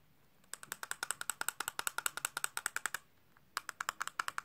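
A glass bottle of Lady Million perfume is tapped quickly with fast fingertip taps, about 32 in all: one long run of rapid taps, a short pause, then a second, shorter run. Each tap is a crisp, bright click with a clear tone around 1.4 kHz and almost no ring.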